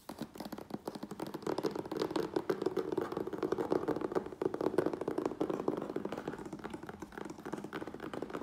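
Fingertips and nails tap and scratch rapidly across the front and sides of a medium, closed, hollow corrugated cardboard Priority Mail box. The result is a dense, continuous patter of short, dry taps mixed with scratchy rasps. A hollow, boxy midrange resonance sits under it, with little deep bass or bright top end.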